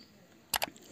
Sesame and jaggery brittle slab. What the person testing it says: यह टन की आवाज आ रही है